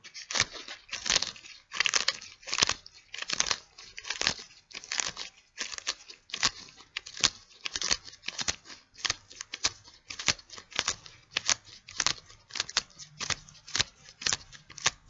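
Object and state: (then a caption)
Latex gloves. White latex gloves worn on both hands rub and pinch together, giving a steady run of crinkly, snapping latex friction sounds. The bursts are short, dry and bright, with almost no low end, and repeat in quick, uneven succession.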